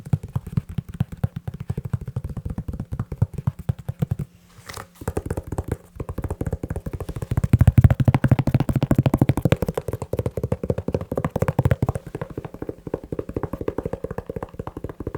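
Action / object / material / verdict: tap / leather shoe / leather / none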